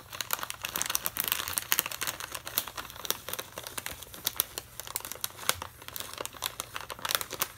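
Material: Plastic foil.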